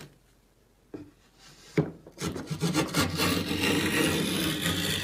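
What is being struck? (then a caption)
Pine board. A wooden hand plane with a metal blade, held in both hands, is pushed across a large, solid, flat pine board clamped to a workbench, shaving it against the grain. After a quiet start and two sharp knocks, a steady, coarse rasping and scraping rises and continues with rhythmic strokes. The sound has low wooden body and bright, gritty high hiss.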